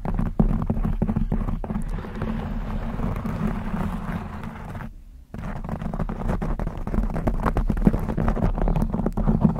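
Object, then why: Knit fabric microphone cover. Long blue acrylic nails scratch a black textured knit fabric cover stretched over a rounded microphone head. The result is a dense, rapid, low-heavy rustling scratch with sharp clicky flicks, which drops to near silence for a moment around the middle before resuming just as busy.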